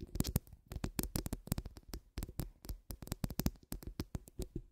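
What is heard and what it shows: Long acrylic nails on both hands scratch the rounded, hollow steel wire-mesh grille of a large condenser microphone. The result is a rapid, uneven series of short scratching strokes, each with a deep, boomy thump and a bright raspy streak on top, with brief quiet gaps between bursts.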